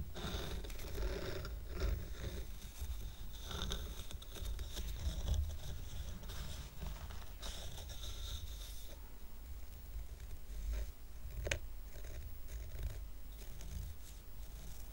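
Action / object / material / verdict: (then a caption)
scrape / stack of painted wooden coasters / painted wood / none. Fingertips scratch the wooden sides and painted top of a stack of square painted wooden coasters tied with red and white twine. The result is a quiet, continuous dry scratching and rustling over a low rumble, with short bright scrapes and a sharp tick near the eleven-and-a-half-second mark.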